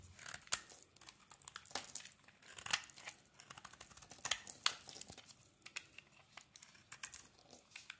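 A metal blade scrapes flakes off a solid, translucent glycerin soap bar with a yellow coating, held in the hand. The sound is a quiet, bright, crisp crackle of many short scraping strokes, with a few sharper peaks and almost no low end.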